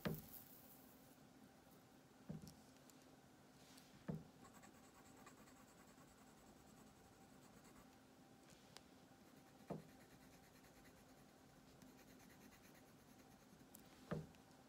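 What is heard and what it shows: A green colored pencil scratches and shades across the drawn armchair on a thin paper coloring page lying on a wooden table, with the other hand resting on the sheet. A quiet, steady scratchy hiss runs throughout, broken by five short, soft low thumps.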